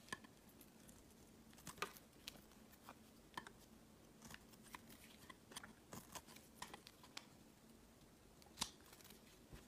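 A utility knife blade scrapes the surface of an oval, green, translucent glycerin soap bar that has been thinned by carving. Short, crisp, bright scrapes and ticks come in irregular bursts over a quiet background with a faint steady low hum, each stroke dying away almost instantly.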